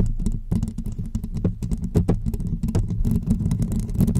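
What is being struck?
Woven metal mesh microphone grille.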